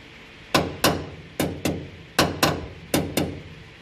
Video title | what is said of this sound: Landau boot floor install | it sounds solid then yes it's holding